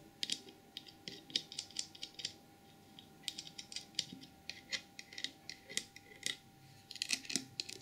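Long purple nails tap and scratch the glossy ear, head and trunk of a small white glazed porcelain elephant trinket box. The result is a quick, uneven run of sharp, bright clicks with short scratchy strokes between them. Each click is high and brittle and stops almost at once, with almost no low end.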